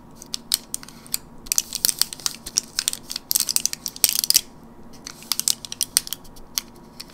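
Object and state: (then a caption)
Plastic and foil blister pack. Fingernails tap and scratch the plastic and foil blister side of a teal printed gum blister pack held in the palm. The sound is a quick, irregular run of sharp, bright clicks and crinkly scratches with almost no low end, dying away instantly after each hit, and it thickens into dense rustling bursts midway through.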